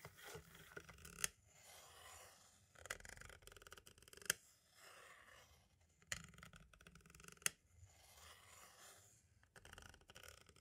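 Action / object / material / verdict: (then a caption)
scrape / plastic audio cassette shell / plastic / none. The fine pointed tip of a green-striped pen-like tool traces across and taps a small, hollow white plastic audio cassette shell held still. Soft, bright scratchy strokes alternate with brief pauses and are punctuated by sharp, quick-decaying plastic clicks.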